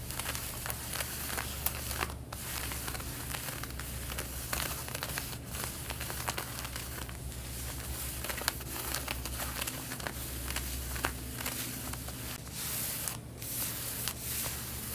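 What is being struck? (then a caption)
Denim jeans. Long red-painted nails scratch the front pocket area of worn light blue denim jeans, making a dense, continuous crinkly scratching with bright, sharp crackles over a steady low hum.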